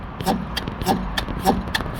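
A car's wheel is grabbed and shaken, producing a series of dull, low knocks with short metallic clicks from the top of the strut where the rubber-and-metal shock absorber top mount sits. The knocking shows free play because the shock absorber mounts are completely worn out and due to be replaced.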